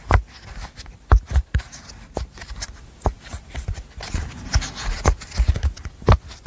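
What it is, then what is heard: Silicone pop-it fidget toy. A hand-sized, rainbow apple-shaped silicone pop-it fidget toy with hollow bubbles is held at the mic while its bubbles are popped and tapped with long nails. The result is a quick series of short, dull, low pops and taps with only a faint bright edge, each dying away almost at once.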